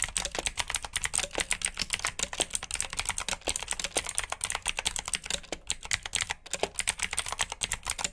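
Fingertips type quickly on a black backlit mechanical keyboard with plastic keycaps, producing a steady, dense stream of sharp, bright clicks. Each keystroke is short and crisp with almost no ring and very little low end.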